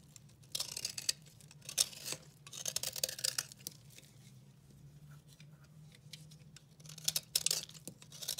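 A utility knife cuts and scrapes a dry blue and pink recycled soap bar, breaking off chunks. Bright, dry scraping and crumbly crunching come in short bursts with quick crackles, over a faint low steady hum.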